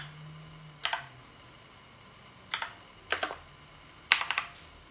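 Fingertips of both hands tap the keys of a black plastic gaming keyboard resting on a bed, in typing. About nine sharp, bright plastic clicks come in four short bursts, each dying away almost at once over a faint background hiss.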